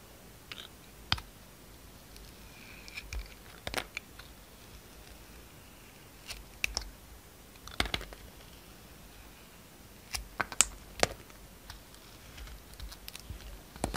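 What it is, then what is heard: Bar soap being cut. A hand-held, hand-sized bar of soap with a gold glitter coating and a yellow-and-white striped interior is shaved and carved with a yellow utility knife blade. Short, crisp scraping and cutting crunches sound in scattered bursts against a quiet background. Each bright, dry cut dies away almost instantly.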